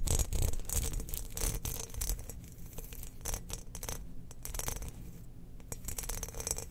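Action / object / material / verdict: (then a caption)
scrape / glazed ceramic cookie jar / ceramic / none. Long nails scratch along the grooved pattern of a hand-held ceramic Death Star cookie jar, a spherical, hollow, glazed ceramic jar. Quick, irregular scraping strokes come in bright, rasping bursts over a low, steady rumble.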